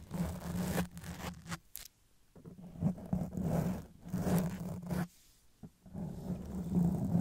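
Long press-on nails slowly scratch a black foam windscreen on a silver Blue Yeti microphone, with the hands starting near the microphone body so the opening may include other contact. The result is a series of dull, low, rumbling scratching strokes separated by brief quiet pauses.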